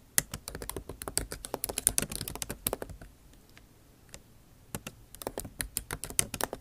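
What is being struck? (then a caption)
Plastic keycaps on an aluminium laptop keyboard. Fast typing with long nail tips on a backlit MacBook Pro laptop keyboard, plastic keycaps set in an aluminum body. Quick, bright clicky taps come in dense bursts, with a short pause around the middle before the typing picks back up.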